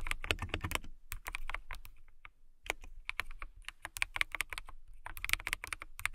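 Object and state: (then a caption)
Clear acrylic mechanical keyboard being typed on. Long nails and fingertips type on a transparent acrylic mechanical keyboard with clear plastic keycaps, lit blue. Quick, bright keystroke clicks come in bursts with short gaps, each one dry and clipped, over a faint low thump.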